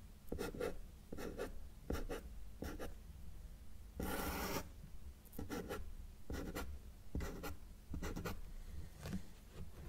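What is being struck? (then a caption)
Felt-tip marker on a paper sheet. A felt-tip marker held in the fingers makes short strokes on a flat white paper sheet resting on a solid table surface, drawing small trees. Brief, dry scratching bursts repeat at a steady pace, with one longer, brighter stroke near the middle. The strokes sit over a faint low hum at a quiet level.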